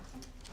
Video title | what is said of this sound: The Queen's Surprising Favourite: Mutton Pie - Royal Recipes - Real Royalty | you were tapping it and it rattled